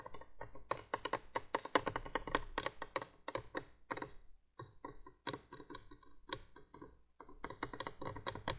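Long nails tap quickly along the hollow base of a plastic window candolier, a 1980s window light. The clicks are bright and dry, coming in dense bursts with two brief pauses.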